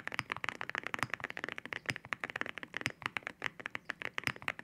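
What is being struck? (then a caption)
Mechanical keyboard with ceramic keycaps. Fingertips type rapidly on a mechanical keyboard with ceramic keycaps, producing about 26 quick, separate key-press taps. Each tap is a short, dry, bright clack centered around 2 kHz with almost no low end, dying away almost instantly.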